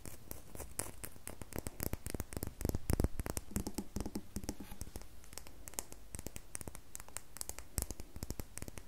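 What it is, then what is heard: Bar of soap, scratched. Long fingernails scratch the surface of a solid red bar of soap held in the hands, making a fast, dense stream of short scratchy clicks. The sound is close and dry, with a soft low rumble underneath and crisp high edges on the scrapes. The scratches peak slightly louder in the middle of the clip.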